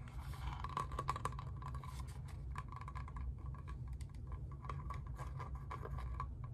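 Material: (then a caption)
Plastic. A clear green plastic spray bottle with a trigger head, hollow and mostly empty, is held in the hands while fingertips and nails tap and scratch its plastic body. Soft, rapid tapping and scratchy scraping blend with a faint hollow ringing tone around 1.1 kHz over a steady low rumble. The taps are quiet and short, dying away almost at once.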